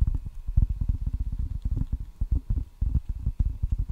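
Fingertips tap quickly on the red rubber side of a solid wooden ping pong paddle held in both hands at the mic. The result is a rapid, uneven run of deep, dull thuds that die away almost instantly, with nearly all the energy low and no brightness, like muffled clip-clopping.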